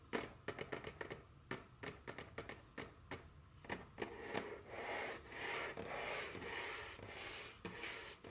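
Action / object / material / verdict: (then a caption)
tap / wooden tabletop tapped with long fingernails / wood / none. Very long curved fingernails tap a solid, dark wooden tabletop in quick, uneven clicks that have short, dry decays. In the second half, the taps give way to a steadier, bright scratching and rubbing across the surface, with a few sharp taps still breaking through.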